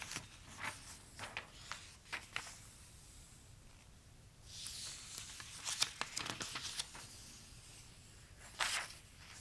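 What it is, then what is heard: Glossy paper catalog. Fingertips rub and trace over the printed pages of an open glossy paper toy catalog, with occasional page turns. Quiet, bright, crisp swishes and papery rustles come in short bursts, with a longer hissing sweep in the middle and a louder crinkling flick near the end.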